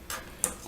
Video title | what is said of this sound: Tuesday's Tips & Techniques Embossed Shimmered Backgrounds | there's a little ball in there you can hear that rattling around